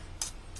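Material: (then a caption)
Iron. An iron Don Quixote statuette that sits on a fireplace is tapped, giving two short, bright metallic ticks. The first tick is the louder one, with a quick decay, and a second, fainter tick follows near the end.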